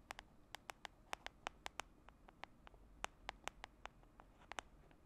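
Long manicured nails tap and scratch the top of the white dotted lid on a small round plastic Cake My Day skincare jar held in one hand. About two dozen quick, dry clicks with almost no ring rise over a quiet hiss, with a bright, crisp edge centered around 780 Hz.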